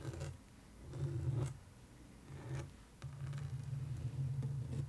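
Long acrylic nails tap and scratch the surface of a canvas art print in a wooden frame lying flat. Soft, low, muffled scraping comes in short bursts with faint ticks from the nail tips, then settles into a longer continuous scratch toward the end.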